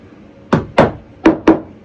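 A hammer taps four times on a narrowboat floor over the bilge, each hit a short, dull knock that dies away quickly. The floor sounds hollow, meaning there is no beam underneath.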